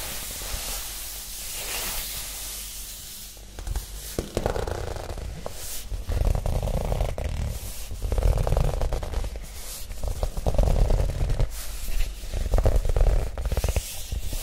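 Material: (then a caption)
Cardboard. A flat green pressboard document folder with a black elastic band is held upright in both hands and scratched across its textured surface with long nails. After a few seconds of soft, steady hiss, it gives dry, rasping scrapes in uneven bursts with a dull, low-heavy body. The scratching grows louder and denser toward the end.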